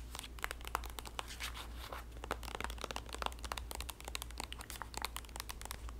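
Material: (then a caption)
Soft plastic. Long nails tap, scratch and squeeze a green printed soft plastic squeeze tube of body lotion with a white cap that appears filled. Rapid, bright crinkly plastic clicks and scrapes come in dense bursts throughout, over a steady low hum.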